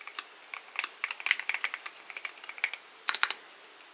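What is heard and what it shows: Fingertips of both hands type continuously on a full-size mechanical keyboard with a dark metal case and solid white and pastel plastic keycaps, picked up by a camera microphone. About twenty-one quick, bright, clacky keystrokes land in an uneven rhythm, each dying away almost instantly with no low-end thump.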